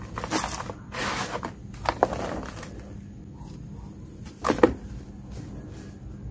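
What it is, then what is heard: Dry red dirt. Bare hands scoop, squeeze and rub loose, dry, fine red dirt powder in a large blue plastic tub, then pour it back through the fingers. Soft, gritty rustling and hissing swells come in waves, with sharper crumbly crackles near 2 seconds and a louder crunching burst near 4.6 seconds, before fading to quiet sifting.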